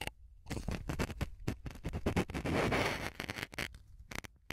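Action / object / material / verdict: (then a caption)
scrape / melamine foam sponge pierced with a pin / melamine foam / none. A blue-headed map pin is repeatedly pushed into and pulled out of a small white block of melamine foam sponge, held by long nails against a recorder's microphone capsule. This produces close, crackly piercing and scratching bursts with a low thump. The bursts thicken into a dense, bright scraping stretch midway before thinning out to quieter pricks at the end.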